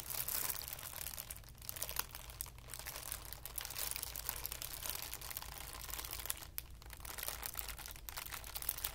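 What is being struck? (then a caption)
Tissue paper ball. A loose ball of thin white tissue paper is squeezed and crumpled in cupped hands, producing a steady, dense, bright crinkling and crackling for about nine seconds. A soft low hum runs underneath the papery rustle throughout.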